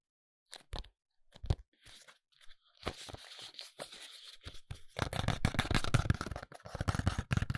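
A small, hollow, palm-sized white ALBION foundation box made of paperboard is held in both hands and tapped and scratched with short fingernails. Scattered dry taps and a brief stretch of papery scratching build into a dense run of quick, crisp tapping with a low, hollow thump and bright rasping edges.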